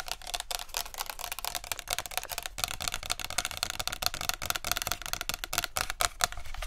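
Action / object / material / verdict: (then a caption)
tap / plastic spray bottle and cap / plastic / none. Long nails quickly tap the green plastic cap and the body of a plastic body mist spray bottle. The result is a rapid, steady stream of sharp, bright clicks that stop dead with almost no ring. A low, soft rumble sits underneath.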